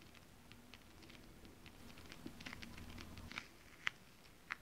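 Long acrylic nails tap quickly on flat holographic mermaid scale-print fabric. Light, bright ticks fall in an uneven patter over a soft low rustle, with a few sharper taps standing out near the end.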